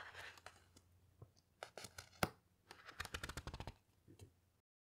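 Long fingernails slide along the heavy glossy paper pages of a large hardcover photo book lying open on a carpet, then turn a page. Soft scraping and crisp rustling build into a burst of papery crackles, and the page drops with a soft thud before the sound fades to silence.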